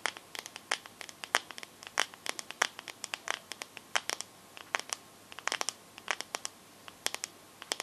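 Long nails tap and scratch on the glass back of a teal smartphone. They make a quick, irregular run of sharp, bright clicks with very short decay and almost no low end. Each tap dies instantly against a quiet background.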